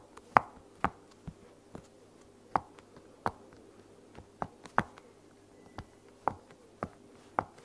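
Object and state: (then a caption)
Silicone pop-it toy being popped. Fingertips with long nails press the bubbles of a heart-shaped silicone pop-it toy resting on a blanket. A series of short, dry, separate pops and clicks sounds at an irregular pace over a faint steady hum, each snapping off almost instantly with no ring.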